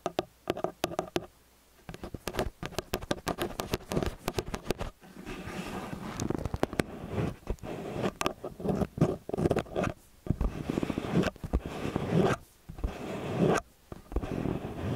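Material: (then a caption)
Metal. Long nails tap and scratch the tops of small metal XY stereo microphone capsules, producing dense, close, dry clicks and scraping rubs with a heavy low-end thump. Brief pauses break the steady stream of taps and scratches.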